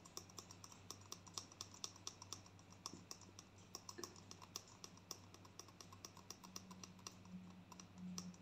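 A gold plastic conditioner tube is held up and tapped rapidly with long nails. The result is a fast, uneven stream of sharp, bright clicks that die away almost at once, over a steady low hum.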